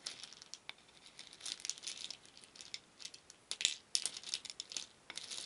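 Many small painted wooden beads in a shallow wooden bowl are stirred with a wooden spoon, rattling against each other and the bowl. The result is a quiet, continuous stream of bright, dry clicks and clatters with short swells and a few sharper knocks, almost entirely high-pitched with no low end.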